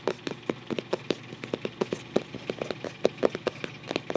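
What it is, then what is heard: Cardboard photo album cover. Fingertips scratch and trace over the paper-covered cardboard front cover of a closed photo album resting tilted on a lap. A quiet, quick series of short, dry scratching strokes sits mostly in the midrange with no ring.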